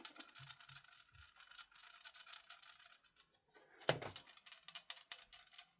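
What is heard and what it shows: An Xbox 360 Slim console is shaken and tilted while another part is held still, letting an unidentified loose object be heard rolling and rattling around inside the housing. The sound is a quiet, dense patter of bright little clicks and taps, with a louder knock near the four-second mark. The loose part inside the console is a fault.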